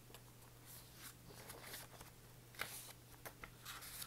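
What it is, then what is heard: Paperback book with card cover. A small paperback copy of "Existentialism is a Humanism", with a light card cover over a solid stack of paper pages, is held in one hand and tapped on the cover with the fingertips while its pages are partly fanned. About five soft, dry taps stand out over quiet, bright papery rustling, likely from the fanned pages. A steady low hum runs underneath the whole time.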